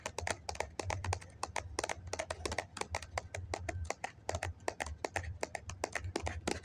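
Fingertips and nails tap rapidly on the side of a hollow white foam cup held in both hands. The result is a fast, uneven run of short, dry, hollow clicks with bright, crisp edges that stop at once, over a steady low hum.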